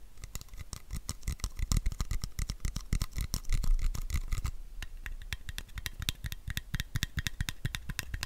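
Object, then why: Capped plastic bottle. Fingertips and nails tap and scratch around a capped, hand-sized white plastic supplement bottle with a paper label; the bottle is hollow and its fill level is not visible. The result is a fast, dense run of short, dry taps, each with a low hollow thump and a bright click. A brief stretch of scratching swells in the middle before the quick tapping resumes.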